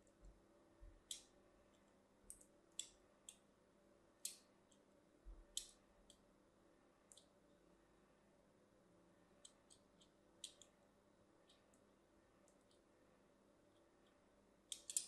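A solid white bar of soap with a cross-hatched surface is scored with a fine blade tip in short scratching and cutting strokes. Each stroke makes a brief, bright, crisp click or scrape that dies away almost instantly. The strokes are scattered irregularly across the clip against a very quiet background.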